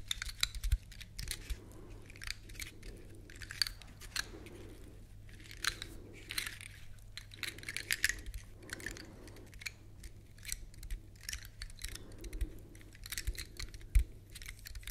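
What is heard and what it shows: A large, elongated, dry brown pine cone with solid woody scales is held close to the mic and scratched across the scales with long nails. Quiet, bright, dry crackling scratches come in repeated bursts with brief pauses between them, over a steady low hum.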